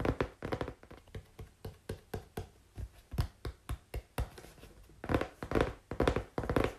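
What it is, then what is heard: Cardboard being tapped. Fingers tap on cardboard, making dull, short thunking taps that die away almost at once. The taps come at an uneven pace, in quicker clusters at the start and end and spaced out in the middle, with most of the sound low and little brightness.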